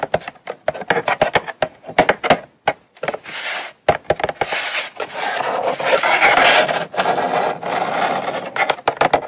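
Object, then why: Small cardboard box. Long acrylic nails tap and scratch the lid and corner of a small, hollow brown kraft cardboard Coach gift box, first held and then resting on a mat. Quick, dry, hollow taps come in clusters, broken by longer stretches of bright, raspy scratching across the cardboard. Each tap dies away almost at once.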